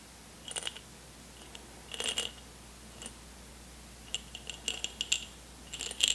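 An airtight jar full of M&M's, unopened since they were taken from a backstage lounge, is shaken and handled. The candy-coated chocolates rattle inside in short, bright, clicking bursts separated by quiet pauses.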